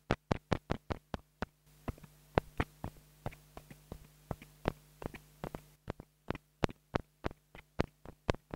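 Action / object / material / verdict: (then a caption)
tap / plastic mini lavalier microphone tapped with a wooden stick / plastic / none. A small black plastic mini lavalier microphone, held in long-nailed fingers, has its capsule tapped about thirty times with a wooden stick. Each tap is a short, dry, bassy knock with almost no ring, sometimes quick and sometimes spaced out, while a faint low hum runs under the middle stretch.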